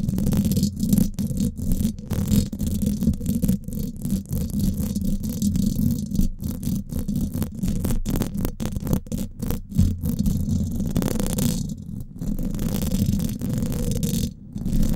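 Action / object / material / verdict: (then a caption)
scrape / steel mesh microphone grille / steel mesh / none. Long fingernails on both hands scratch the hollow domed steel mesh grille of a Blue Yeti microphone, producing a dense, continuous rasping scrape. The sound is heavy and muffled, with most of its energy in a low rumble around 220 Hz and very little high-end brightness. Brief dropouts break up the steady scratching throughout.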